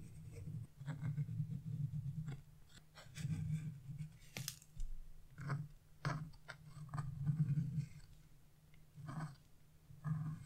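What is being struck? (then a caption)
Wax-coated scratch-art paper. A narrow dark tool tip scratches along thin lines on black wax-coated scratch-art paper resting on a table. The result is a series of low, rough scraping strokes, broken by brief sharp, bright clicks and crackles between quieter pauses.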